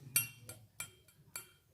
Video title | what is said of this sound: keris pusaka asli luk 11 ..... | dari segi besinya ini sangat puas sekali bunyinya Ting nyaring